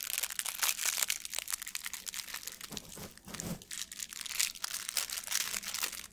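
A light, loose blue metallic plastic ribbon gift bow is crumpled and squeezed with the fingers. It makes a dense, bright crinkling crackle, softening briefly around the middle before building back up.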